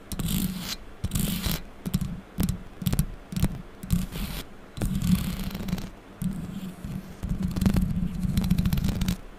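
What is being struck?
Metal mesh microphone grille.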